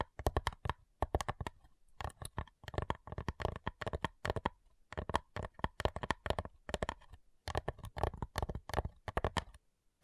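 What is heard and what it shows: Long fingernails tap quickly on the lid of a flat, light, hollow wooden cigar box. The result is bursts of dry, clicky taps with a hollow low thump and almost no ring, separated by short pauses.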